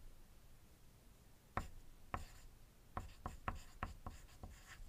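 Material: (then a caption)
Paper. A wooden graphite pencil writes on a thin white paper sheet resting on a desk, making eight short, scratchy strokes that start with brief ticks and trail off into quick bright rasps. The overall sound is quiet, and the dice beside the sheet stay still.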